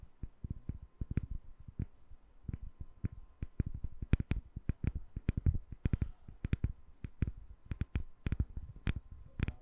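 A solid, translucent glycerin soap bar with embedded colored balls is held in one hand and tapped with long nail tips. About forty quick, irregular taps sound as soft, low thuds with a brief bright click on top. Each one dies out almost instantly over a faint steady background hum.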